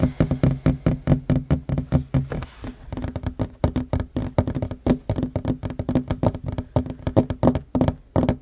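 Fingertips and short nails tap quickly on a flat, solid wooden table top. The result is a rapid, uneven run of dozens of short, dry knocks with a hollow, low-mid tone around 260 Hz. Each knock dies away almost instantly.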